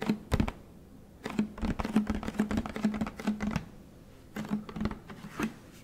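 Fingertips tap the side of a large, hollow orange plastic Tide detergent jug with a blue cap. Quick, dry, muffled taps come in rapid bursts separated by short pauses, each carrying a low hollow thump that dies away almost instantly.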